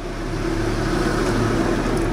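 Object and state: Nothing is struck.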